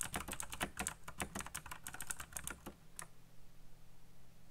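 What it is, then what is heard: Plastic mechanical keyboard being typed on. Fingertips type fast on a backlit black plastic mechanical keyboard with RGB lighting and hollow key switches. About 17 quick, bright clacks run for roughly three seconds, then the typing stops and a low hum continues.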